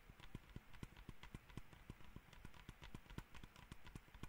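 Fingertips and nails tap the top shell of a small, hollow black plastic computer mouse in a quick, steady run of light taps. Each tap is a short, dry, low knock with a faint bright click on top, dying away almost at once against a soft background hiss.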